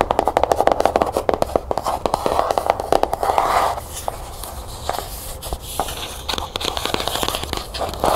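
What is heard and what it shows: A closed, cloth-bound hardcover book is tapped rapidly on its cover, giving a dense run of short, dry, muted clicks with a hollow midrange tone around 700 Hz. The tapping gives way to long fingernails scratching along the ridged spine, a softer, continuous rasping texture broken by occasional sharper taps.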